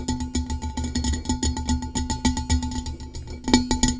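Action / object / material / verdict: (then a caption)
tap / metal tumbler / metal / none. Long nails tap rapidly on a blue-coated hollow metal tumbler, giving a quick, steady run of bright clicking taps, each with a short metallic ring around 246 Hz over a low rumble. The taps grow louder and sharper toward the end.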